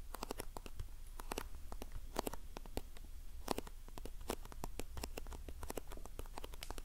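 Long painted nails tap and scratch a small printed cardboard box of facial sheet masks held close to the mic. The result is a rapid, uneven stream of sharp, bright clicks and dry scratches over a steady low hum.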